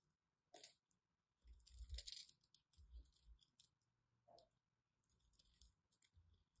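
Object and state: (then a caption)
Bar of soap being scraped. A small metal blade cuts and scrapes the surface of a solid, hand-sized white bar of soap held in one hand with long red nails, shaving off flakes. Quiet, irregular bursts of crisp, bright scraping and crunching come with soft low thuds, separated by brief near-silent pauses.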